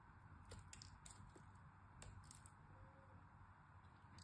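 A utility knife blade shaves and scrapes the top edge of a solid, hand-sized, orange-and-white striped bar of soap held in the fingers. Quiet, crisp scraping ticks with bright edges sit over a steady low rumble that fills the clip.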